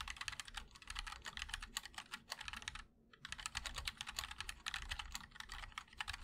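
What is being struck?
Mechanical keyboard with plastic keycaps in a metal case.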